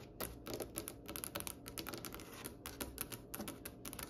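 Long painted acrylic nails from both hands tap across a large, solid wooden tabletop with a glossy reddish-brown polished finish. About 22 quick, dry clicks follow one another in an uneven patter, each with a bright tip and a faint woody body that dies away almost at once.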